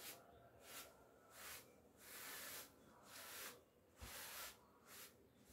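A handheld bristle clothes brush with a wooden back is rubbed down the front of a navy cotton-look twill coat hanging on a door, with a hand holding the coat, to remove hairs. About seven soft, bright swishing strokes are heard, each a hissing sweep through the fabric with quiet gaps between them at an uneven pace.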